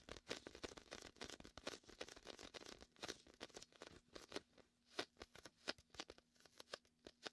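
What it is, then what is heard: Inflatable vinyl beach ball, sticky surface. Fingers repeatedly press onto and peel off the tacky surface of a large, hollow, air-filled red-and-white inflatable PVC vinyl beach ball. The result is a bright, crackly sticking-and-releasing sound: dense, rapid crackles at first, thinning later into separate sharp, short snaps over a faint low steady hum.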